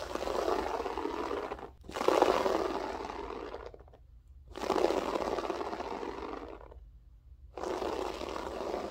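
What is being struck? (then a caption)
Loop-pile floor carpet scratched with long nails. Long acrylic French-tip nails scratch and claw at a flat beige loop-pile carpet with a textured loop pile. This makes dense, broadband scratching strokes that rise and fade in long sweeps. Brief near-silent gaps fall between them, and the rasping is centered in the low mids.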